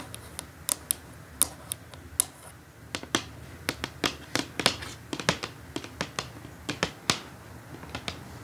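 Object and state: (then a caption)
Cardboard gift box tapped with fingernails. Long acrylic nails tap on the lid of a flat, closed, brown printed cardboard perfume gift box lying on a table; the box seems hollow with its contents inside. Over two dozen quick, crisp, clicky taps come in an irregular rhythm, each bright and dry with almost no ring, over a faint low background.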